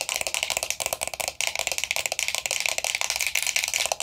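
Long nails rapidly tap and scratch a closed, hollow, round vintage gold-tone metal powder compact with a black rose design. The result is a dense, bright stream of crisp clicks and scrapes with almost no low end and very short decay, pausing briefly partway through before continuing.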